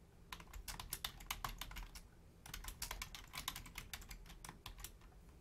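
Both hands type rapidly with long painted nails and fingertips on a black plastic Logitech full-size keyboard with a hollow shell and membrane keys. The result is a fast stream of sharp, bright clicks over a low, dull thud, with a short pause around the two-second mark before the tapping resumes.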